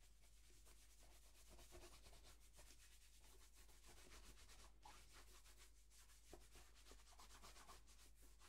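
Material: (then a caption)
Leather. A single black leather dress shoe, hollow and held in the hand, is rubbed with a white cloth wrapped around the fingers while cleaner is applied. Quiet, quick, fairly rhythmic swishing strokes carry on throughout, with bright, breathy friction over a steady low hum.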